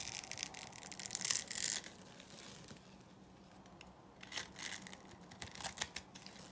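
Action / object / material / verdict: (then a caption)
scrape / bar soap cut and scraped with a metal blade / soap / none. A metal blade cuts and scrapes cubes off a solid, dry beige rectangular bar of soap scored into a grid. Crisp, bright scraping and crunching bursts come in an uneven series, loudest around the first two seconds, then a quieter lull, then renewed sharp cuts.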